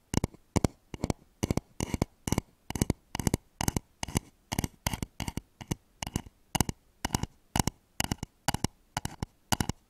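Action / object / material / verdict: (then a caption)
tap / wooden bowl / wood / none. Fingernails tap rapidly on the outer wall of a hollow, polished wooden bowl turned upside down over microphones. The taps come in steady, evenly spaced quick bursts, each a dry, hollow knock with a deep body around 113 Hz and a faint bright click. Every tap dies away almost instantly.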